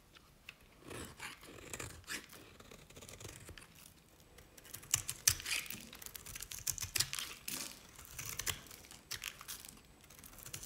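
A utility knife blade cuts curls from the edge of a cream-colored bar of dry Nevskaya Cosmetics soap. It makes a run of bright, crisp scraping and crackling strokes at an irregular pace, each short and dry with no ring, between quiet pauses.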